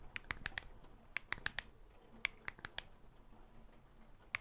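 Long black false nails on a black-gloved hand rapidly tap the surface of a handheld black smartphone, a solid glass and metal slab held in the other black-gloved hand close to the microphone. Thirteen sharp, bright clicks centred around 2 kHz land in irregular clusters over a low, steady hiss, each dying almost instantly with no ring.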